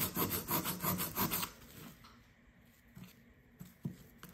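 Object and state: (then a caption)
Plaster dig block being scraped. A solid blue plaster block from a dig kit, held by the fingertips, is scraped with a blue plastic pick, and chalky crumbs fall away. About a second and a half of fast, rhythmic, gritty rasping strokes gives way to a quiet hiss with three faint ticks near the end.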